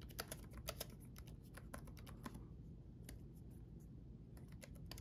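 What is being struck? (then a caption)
Plastic laptop keyboard keys. Both hands type with their fingertips on a red-backlit laptop keyboard with plastic chiclet keys. Short, bright, clicky key taps come in an irregular rhythm, with a brief lull midway, over a steady low background rumble.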